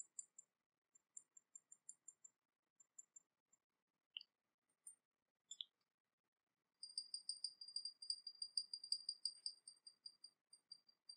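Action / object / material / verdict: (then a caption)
tap / small porcelain teapot / porcelain / none. A small, hollow, painted porcelain teapot with a dragon motif, held in the hands, is tapped with long painted nails. Faint, very high-pitched clicks come in scattered taps at first, then shift into a quicker, steadier run of bright ticks from about seven seconds on. Each tap is short and dry, with almost no ring.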